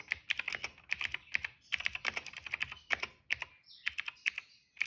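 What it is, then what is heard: Plastic mechanical keyboard. Fingertips type on the keycaps of a plastic retro mechanical keyboard resting on a rug, producing quick bursts of bright, crisp clacks with almost no low end. The keystrokes come in rapid uneven runs separated by brief pauses, each click dying away almost instantly.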